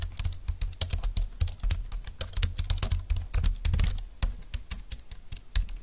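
Both hands type with fingertips and nails on a compact, thin, dark-green plastic Bluetooth keyboard lying on a desk mat. The result is a steady run of short, dry key clicks, each with a low thump under a bright plastic tap and almost no ring.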